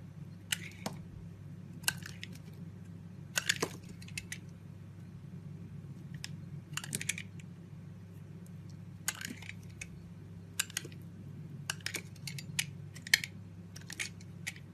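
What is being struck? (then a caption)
Soap bar scraped by a steel blade. A steel utility-knife blade shaves and scrapes curls off the faceted surface of a hand-sized solid blue bar of soap, held in one palm by long-nailed fingers. Short, bright, crisp scraping and crackling bursts come in irregular clusters over a steady low hum.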